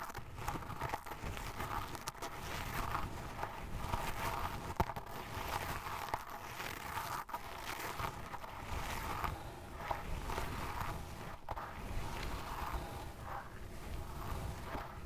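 A small makeup brush with a dark bristle tip is pushed and dragged through a loose mound of pale fine sand, scratching grooves into it. The result is a steady, soft crunching and gritty scraping with a low, rumbling body and only faint bright edges, broken by occasional sharper crackles.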